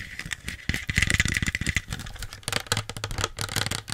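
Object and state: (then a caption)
Plastic soda bottle. A small plastic Pepsi bottle with its label on is tapped quickly with long nails. The result is a rapid run of crisp, hollow plastic clicks and light rattling taps, with bright high ticks and soft low thumps under them. The tapping grows denser and louder around the first second, then continues in uneven bursts to the end.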